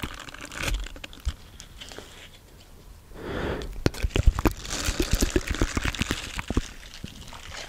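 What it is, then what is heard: Silicone scrubber brush. Fingertips scratch and flick the dense short bristles of a small round green silicone scrubber pad held up close to the mic. Soft crackly rustling scratches are broken by a quieter lull, then a busy run of sharp, dry, irregular clicks and flicks with close, low thumps and a bright crinkly hiss. The sound fades back to gentle scratching at the end.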